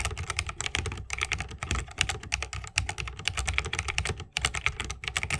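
A 60% mechanical keyboard with Holy Panda switches, a bamboo case and plastic keycaps is typed on continuously with the fingertips of both hands. The result is a rapid, steady stream of short, crisp clacks with bright tops around 2.8 kHz and a soft low thock beneath. Each keystroke dies away almost instantly.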